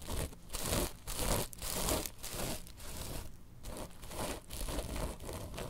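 Long nails scratch and tap on a woven tapestry bolster pillow, alternating fast and slow strokes. The result is a run of rough, crinkly scratching bursts with bright fabric hiss over soft, low thumps, each stroke stopping short with almost no ring.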